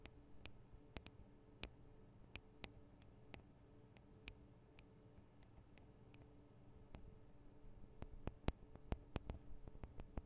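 Long acrylic nails of both hands tap the small, hollow metal microphone capsules on a Tascam DR-40 recorder. Sharp, bright, very short clicks fall at an irregular pace over a quiet, steady low hum, and they grow louder and closer together toward the end.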